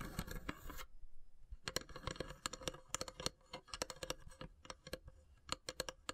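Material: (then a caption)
Wood. Long grey-polished nails tap and scratch along the carved, perforated lid of a long, narrow, hollow wooden incense box with small brass elephant inlays, which rests on a wood-slice mat. Almost a second of dense scratching gives way to a brief pause and then a long run of sharp, dry, bright taps. Each tap dies almost instantly, over a faint steady low tone.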